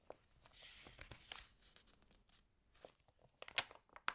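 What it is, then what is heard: Water-damaged paper magazine being handled. Fingertips rub the pages of an open, water-damaged paper fashion magazine, then lift and turn a page with a crinkle. Soft, dry rustles and scratchy, bright crackles come in uneven bursts, with a couple of sharper crinkles near the end. The sound is quiet and mostly high-pitched, with almost no low end.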